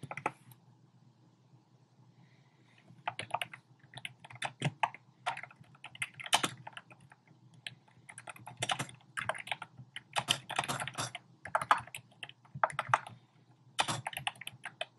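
Fingertips type on a compact black plastic typewriter-style keyboard with round plastic keycaps. After a near-silent first few seconds, bursts of quick, bright plastic key taps come in uneven runs separated by short pauses. Each click is dry and short over a faint low background hum.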